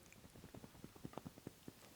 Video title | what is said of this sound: J Edwards Guitars Fractal Fret Press vs A Chinese Knockoff | you can hear my sleeve. You hear nothing.